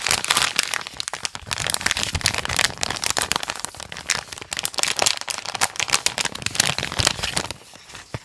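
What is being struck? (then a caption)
Thin plastic packaging pouch. A small white and blue printed plastic pouch for a USB cable is held in both hands and rubbed and crinkled with fingertips and a thumbnail. Dense, bright crackling and crinkling runs through the clip in rapid sharp bursts with very little low end, and it grows quieter in the last second.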